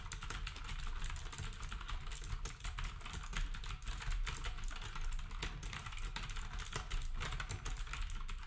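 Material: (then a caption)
Plastic. Fingertips type steadily on a black compact plastic typewriter-style keyboard with round plastic keycaps. The result is a fast, continuous stream of short, dry clacks with a heavy low thud under each keystroke and a faint bright edge.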